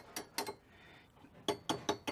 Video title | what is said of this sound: 73 Maverick first (legal) drive in TWO YEARS! (It's still broken) | when i tap it you can hear that's definitely hollow inside